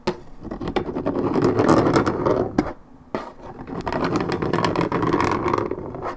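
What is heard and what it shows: Long nails scratch the top of a hollow Minute Maid orange juice carton made of coated paperboard, held in hand. Dense, rapid raspy strokes give a warm mid-range scraping texture with sharp, bright clicks, pausing briefly near the three-second mark before resuming.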